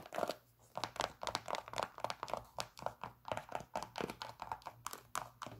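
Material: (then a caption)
Synthetic leather. A white Nike Air Max 97 running shoe, hollow and empty, with a synthetic leather and mesh upper and a plastic air sole, is held in the hands and scratched and tapped with long acrylic nails. Quick, dry, crinkly taps and scratches come in a steady, uneven run. They are quiet and mid-pitched and die away at once, over a faint low hum.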